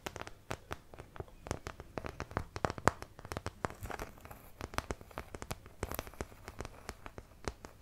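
A small, thin, empty white plastic artist's palette with a thumb hole is held close to the microphone while long nails scratch and tap it. The result is a fast run of sharp, dry clicks and crinkly scratches that stop short with almost no ring, spread from low to high.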